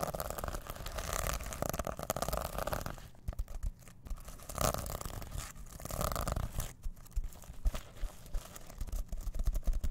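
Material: Plastic sequins.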